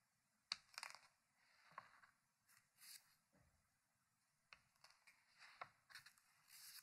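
Fingertips lift and turn a page of a thick, open hardcover paper book resting on a wooden table. Quiet, bright papery rustles and soft rubbing swells are broken by several crisp ticks and snaps. The page ends mid-flip.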